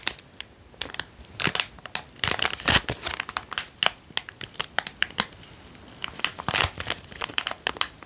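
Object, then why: Small plastic zip-lock bag. A small, empty, transparent zip-lock plastic bag is held between the fingers and crinkled and squeezed with the fingertips. Dense, bright crinkling comes in rapid, irregular bursts of sharp crackles throughout, with almost no low end and very short decay.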